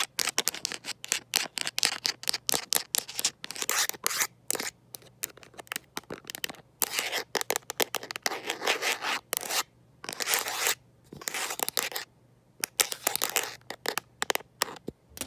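Long nails tipped with gold paper clips tap and scratch the back of a handheld smartphone in a teal rugged plastic and rubber case. Rapid, sharp, bright clicks come in quick bursts, mixed with longer, hissy scraping strokes and brief pauses between runs.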